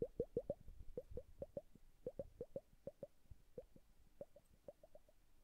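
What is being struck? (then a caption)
Glass hourglass filled with liquid. A glass bubble hourglass with blue liquid is held upright and flipped by hand, and its liquid plops and bubbles while fingertips tap it lightly. About twenty quiet, short, hollow plops sit near 480 Hz, each dying away almost instantly. They come in quick bursts that thin out toward the end, with no bright edge.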